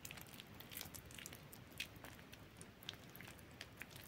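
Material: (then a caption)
Soap. Hands with long nails squeeze and crumble a fully soaked, softened bar of soap in a yellow bowl, working the wet, pasty mass between their fingers. The result is a quiet, continuous wet squishing with soft crackles and scattered bright, sharp clicks and pops at irregular moments.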